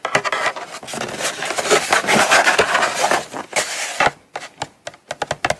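Long acrylic nails tap and scratch the lid and corner of a small, hollow brown kraft cardboard Coach box, held and then resting on a mat. Dense, bright scratching and rubbing fill the first four seconds, then give way to sharp, separated dry taps with short decay.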